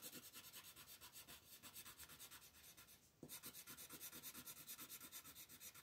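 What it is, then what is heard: Colored pencil shading on a paper page. A red colored pencil rubs and scratches across a crab's body on an open paper coloring book page resting on a table, in repeated shading strokes. Quiet, bright, papery scratches come in a steady back-and-forth rhythm, with a brief lull around the three-second mark before the strokes resume.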